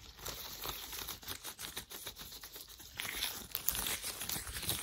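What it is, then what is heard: Latex gloves rubbed together. Hands in worn, thin white latex gloves wave and rub together, making a quick run of bright, crinkling rubber rustles and squeaks. The rubbing grows louder and denser after about three seconds, with little low end.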